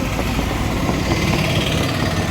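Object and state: Nothing is struck.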